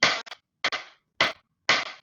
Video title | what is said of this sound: Parâmetros do som | E se eu bater no tampo da minha mesa, temos outro som.